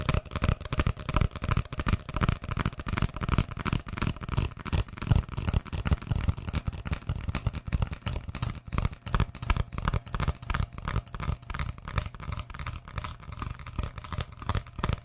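Fingertips and nails tap and scratch an empty, hollow brown cardboard roll about 20 cm long, held upright beside the mic. The result is a quick, uneven stream of dull, low, hollow taps with a soft scratchy texture, each dying away almost instantly, continuing throughout.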